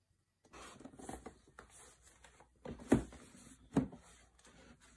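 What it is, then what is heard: Cardboard laptop box. Bare fingertips and hands rub and tap a large brown corrugated cardboard box for a Huawei MateBook D16, with a carry handle and its label, resting flat on a dark desk; the box is hollow and apparently still holds the laptop. Soft, dull scratchy rubbing and light papery taps fill the clip, with two sharper, louder thumps standing out near the end.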